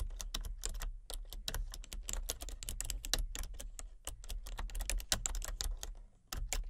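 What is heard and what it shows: Long fingernails rapidly tap the keys of a full-size, hollow-bodied plastic computer keyboard with color-changing backlit keys. The result is a steady stream of short, bright, clicky taps with almost no ring, over a constant low hum.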